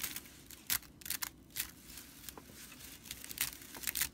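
Fingertips and long nails scratch along the bound body of a broomcorn straw whisk broom with red-stitched dry straw bristles, lying on a wooden table. The result is a quiet run of short, dry, bright scratches and crinkly rasps, with brief louder strokes and almost no low end.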